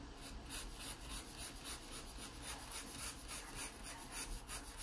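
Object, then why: Wooden pencil on a paper sketchbook page. A wooden pencil is drawn firmly across the page of an open paper sketchbook, scratching out the outline of a pear. The quiet, dry scratching comes in a steady run of rhythmic strokes, each a bright, papery rasp over a faint low rumble.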